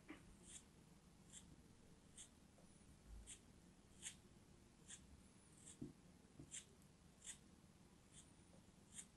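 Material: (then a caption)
Kinetic sand. A small solid piece of orange kinetic sand, held in fingertips with long nails, is cut with a small knife blade. Each pass makes a short, bright, crumbly scratch that repeats at a steady pace. The cuts fade quickly over a quiet, low background hum.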